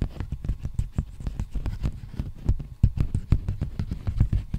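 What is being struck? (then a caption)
Plastic bubble mailer envelope. Fingertips tap and scratch a large, empty black poly bubble mailer envelope held close to the microphone. The result is a quick, irregular patter of soft, dull, low thumps that die away almost instantly, with faint scratchy rustling between them.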